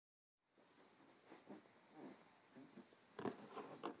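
Fingertips of both hands tap on the front of a large, thick, solid hardcover book with a dark blue cloth cover, lying closed on a wooden table. After a brief silence, soft, muffled, low-pitched taps patter irregularly. A few sharper, louder taps come near the end.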